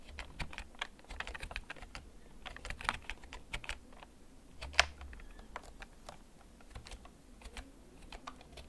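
Fingertips tap the keys of a hollow, backlit plastic gaming computer keyboard that is held and tilted in a dim setting. Slow, uneven typing produces a steady run of short, bright plastic clicks that stop almost instantly, over a faint low rumble. One tap near the middle sounds noticeably sharper and louder than the rest.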